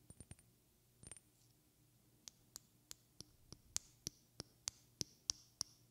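A small, partly filled glass perfume bottle with a white cap is tapped with long red-painted fingernails. A quick flurry of light taps and a brief clattering rattle come first, then a steady run of 13 evenly spaced, sharp clicks that grow louder. Each tap gives a quiet, bright glassy ping that dies away almost at once.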